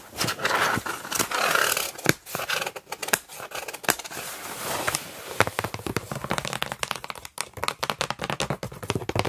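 Long nails scratch and tap across the flaps of the same large, hollow, still-closed corrugated cardboard box. Dry scraping sweeps alternate with quick clicky taps that stop short without ringing. The sound is papery, mid-heavy and bright, with little low end.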